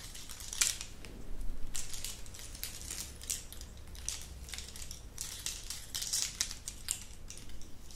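A dangling glass bead drop earring, made of small coloured translucent glass or resin discs on thin metal wire, is held up close and jiggled with fingertips and long nails so the pieces shake and rub together. The result is a steady run of light, bright, high clinks and ticks with very short ring, a few louder bursts standing out, over a faint low hum.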